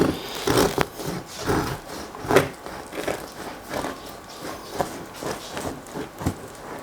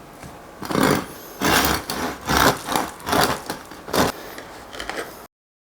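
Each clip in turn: First: under-fermented bread crust, not crunchy. Second: crunchy crust of well-fermented sourdough bread.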